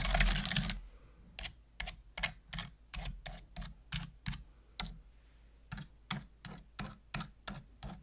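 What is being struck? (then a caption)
Plastic computer keyboard keys. Single keys on a full-size black plastic computer keyboard with hollow plastic keys are pressed with a long-nailed fingertip. A dense, bright clatter opens the clip, then slow, separate tapping follows. Each tap is a short, hollow plastic click with a low thud and a bright top.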